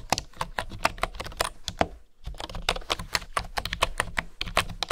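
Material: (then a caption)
Bamboo. Fingertips with nails type on a full-size keyboard with a solid bamboo body and flat bamboo keys. A quick, steady stream of short, dry, bright clicks with a hollow woody tone breaks briefly about two seconds in, then resumes. Each tap dies away almost instantly.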